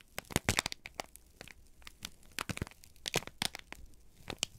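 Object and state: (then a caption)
Crumpled kraft paper sheet. A single crumpled sheet of thin, flexible brown kraft paper, held in both hands, is squeezed and crinkled with the fingertips and thumbs. It makes a quick series of sharp, dry crackles and crinkles, bright and papery, with quiet gaps between the bursts. Each crackle stops at once with no ring.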